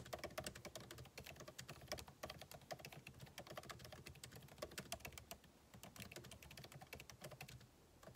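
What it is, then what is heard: Laptop keyboard, plastic keys. Fingertips of both hands type rapidly on a backlit MacBook Pro keyboard with plastic keycaps, set in a solid aluminum body resting on a desk. A dense, steady stream of quiet, sharp key taps follows, each a short bright click over a soft low thud that dies away almost at once.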